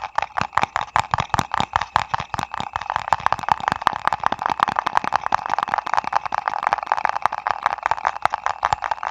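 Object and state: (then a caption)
Paper ice cream cup. A small printed paper ice cream cup is held close and tapped and scratched with fingertips and nails. Dry, quick taps and scratches come in a rapid, uneven stream, with a papery midrange centered near 1 kHz and no ring after each hit.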